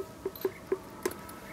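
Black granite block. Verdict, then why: Hollow. Five light knocks on black granite, each a brief mid-pitched tone near 380 Hz, read as hollow.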